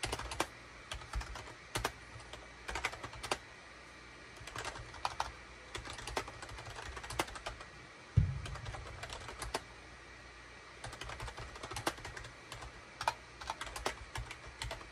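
Rapid bursts of bright, clacky keystrokes come from fingertips of both hands typing on a full-size gray, cream and orange SHIPADOO K600 wired USB plastic keyboard with a hollow plastic housing, resting on a desk mat. The typing pauses briefly a few times, and a single low thump lands near the middle before the quick clatter resumes.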